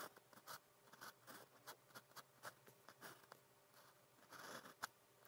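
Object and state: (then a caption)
Pen writing on paper. A pen nib scratches across a flat grid practice paper sheet in writing strokes, producing a series of short, quiet, dry scratching bursts with bright, hissy edges. The strokes come in quick, uneven bursts with brief pauses between them, ending on a sharper tick.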